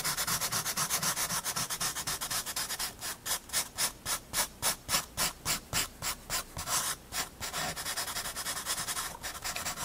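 A paper blending stump is rubbed over the graphite shading of a penguin's head and chest on a paper sketchbook page, giving a soft, bright, hissing rub. Quick continuous scrubbing in the first few seconds turns into slower, distinct back-and-forth strokes in the middle, then returns to fast, dense rubbing at the end.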